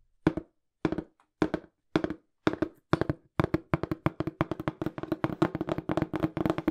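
Fingertips tap quickly on a small, hollow, brown printed cardboard shipping box, making dull, hollow thuds with a low resonant body. The taps come in short separated bursts at first, then speed up into a dense, continuous drumming flurry.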